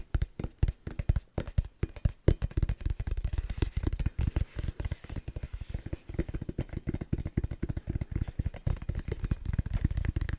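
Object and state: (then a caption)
Indoor volleyball. Fingers tap rapidly on the synthetic leather surface of a light 8 oz Wilson official-size indoor volleyball. The result is a dense run of short, dull, low thumps with almost no ring, carried along by faint soft scratchy texture.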